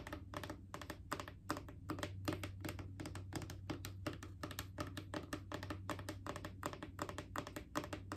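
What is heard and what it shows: Long acrylic nails tap rapidly near the top of a Clorox disinfecting wipes canister, a mid-sized hollow plastic cylinder. The result is a quick, uneven stream of short, dry clicks with almost no ring, over a faint, steady low hum.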